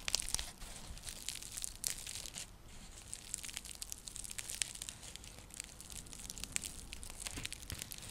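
Long fingernails scratch and tap a round, flat, coiled woven seagrass (straw) coaster or trivet. The result is a quiet, dense stream of dry, crinkly scratching with many quick, bright clicks and brief rustling bursts. Each sound dies away almost instantly.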